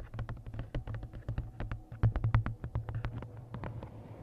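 Quick, uneven clicking taps of fingernails on a glossy paperback cover, over a low steady hum.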